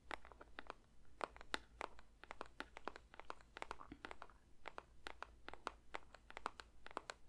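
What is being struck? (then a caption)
Paperboard box. A paper box is lightly tapped with the fingers for ASMR, giving a steady run of quick, soft, dry taps with papery crinkly edges that reach up bright. A faint low hum sits underneath throughout, and the tapping sounds normal.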